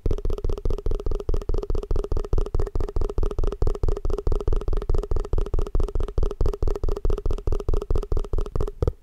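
Fast, aggressive tapping on a plastic tupperware food container produces a steady run of about 36 short, hollow taps. Each tap has a deep, thumping low end and a muted ring near 400 Hz that dies away almost at once.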